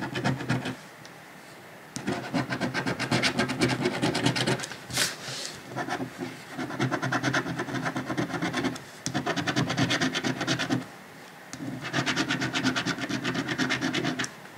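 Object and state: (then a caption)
Scratch-off ticket being scratched. A coin held in the fingers scratches the number area of a thin, flat paper lottery scratch-off ticket with a latex coating, resting on a dark cloth. Rapid, gritty rasping strokes come in several bursts separated by short quiet pauses. The scraping sound is dry and bright, with a faint low rumble underneath.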